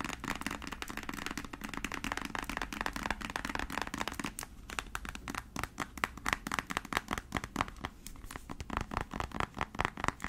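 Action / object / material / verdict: tap / small filled plastic paint tube / plastic / none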